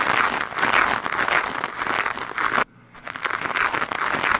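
A handheld plastic scrub brush with stiff white bristles quickly scratches and brushes a large, soft, porous black foam windscreen on a microphone. The result is a dense, fast rasping scrub of overlapping strokes, strongest in the midrange with a bright hiss on top and almost no low end. The scrubbing briefly stops to near silence just before the three-second mark, then resumes.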